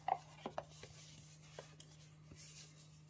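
A small, hollow, rigid printed cardboard Coca-Cola/Timex watch gift box with a striped sleeve is held in both hands while fingertips and nails scratch and rub across its flat faces. Three sharp, dry taps and scrapes stand out early, followed by fainter brushing and scratching over a steady low hum in a quiet setting.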